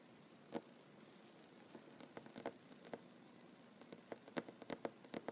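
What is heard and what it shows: Short nails and fingertips tap a solid wooden tabletop, first with one hand drumming and later with both hands near the surface. About 13 quiet, sharp, dry taps with a low-mid knock and almost no ring fall at an uneven pace, sparse at first and then clustering toward the end. A faint steady hiss sits underneath.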